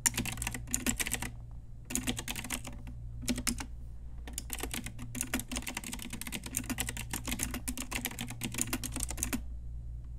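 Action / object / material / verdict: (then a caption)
tap / plastic mechanical keyboard / plastic / none. Long nails and fingertips type on a pink Ajazz retro typewriter-style mechanical keyboard with round plastic keycaps, making bursts of sharp, bright clicky keystrokes broken by short pauses. A steady low hum runs underneath throughout.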